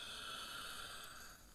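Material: Nothing is struck.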